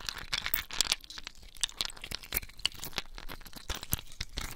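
Several clear, solid ice cubes held in wet bare hands above a basin of water are squeezed, rubbed and clinked together with the fingers. Bright, crunchy crackles and squeaky grinding mix with sharp clicks and faint wet splashes. Each click dies away almost instantly.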